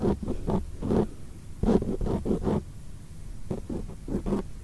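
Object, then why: Foam microphone windscreen. Long acrylic nails tap and scratch on a black foam microphone windscreen. The result is a run of soft, muffled, brushy bursts, heavy in the lows with no bright top end, each dying away almost at once between short quiet gaps.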